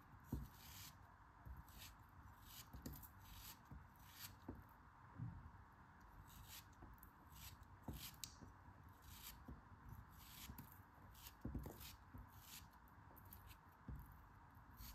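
A small solid piece of pink kinetic sand is held in the fingers and sliced with a craft knife blade. Quiet, crisp scraping cuts repeat with soft crunchy bursts of bright, grainy texture over a low, steady hum. Each slice fades almost at once.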